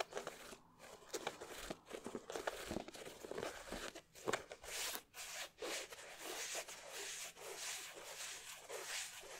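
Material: Leather.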